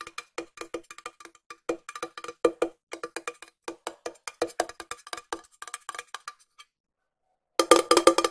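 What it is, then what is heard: Small round metal tin tapped with fingernails. A small, round, hollow silver metal tin held in one hand is tapped with long nails, giving bright, hollow metallic clicks with a short ring. The taps come in an uneven rhythm, fast and slow, then stop for about a second before ending in a quick, dense flurry of louder taps.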